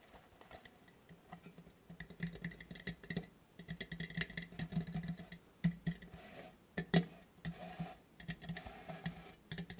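Fingernails tap and scratch the top of a square, purple printed metal lid from a tea tin held in the hands. The result is a quiet, irregular stream of quick, dry taps and scratchy rasps, each dying away almost at once. A faint low metallic tone sits under bright clicky edges, with a few louder taps standing out near the middle and end.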